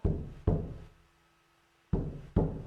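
A hand drum with a hide skin is struck four times, giving dull, low thuds that die away almost at once with no ring. The drum does not resonate because its skin is too humid.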